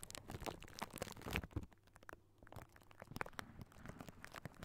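Fingertips and short nails scratch and tap directly on the round metal wire-mesh grille of a large hollow microphone head, Blue Yeti style. A dense stream of dry, crackly scratches and soft low rumbling thumps comes through, with sharper bright taps here and there. The sound dips quieter in the middle before the scratching picks back up.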